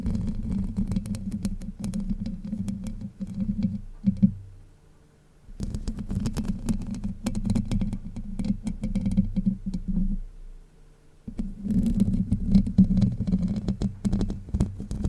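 Long white nails scratch across the hollow domed steel mesh grille of a Blue Yeti microphone, making a dense, rough, low-heavy rasping with a droning tone around 195 Hz and quick crackly ticks. The scratching comes in three long stretches, with near-silent pauses at about 4.5 to 5.5 seconds and 10 to 11 seconds.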